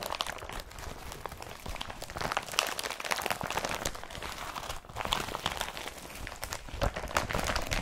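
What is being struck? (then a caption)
Woven polypropylene carrier bag. An empty blue IKEA BRATTBY woven polypropylene carrier bag is crumpled, folded and opened by hand. The result is a steady run of dense, bright crinkling and crunchy rustles, with a brief lull near the five-second mark.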